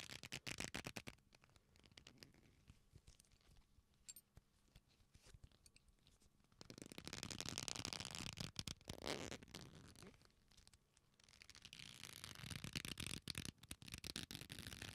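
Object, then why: Leather belt strap. A black leather belt with a flat, solid strap is folded into loops and bent and rubbed with both hands close to the microphones. Soft, crackly creaks and ticks in the first few seconds build into louder, bright, rustling rubbing and creaking around the middle and again toward the end.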